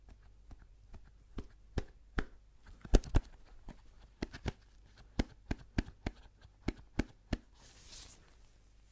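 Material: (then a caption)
Cardboard. A small, hollow white cardboard Apple product box, held in a gloved hand, is tapped with the fingertips, making about 17 short, dry, hollow taps at an uneven pace. Some taps are louder than others. Just before the end comes a brief soft, high brushing hiss, all over a faint low hum.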